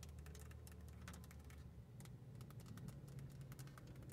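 Long nails tap and scratch across the front of a hollow, hard plastic car stereo face with buttons, mounted in the centre console. Quick, bright, typing-like clicks and scrapes patter quietly throughout over a steady low hum.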